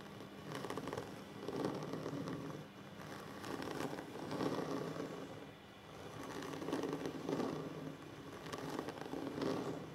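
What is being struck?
Wooden tabletop.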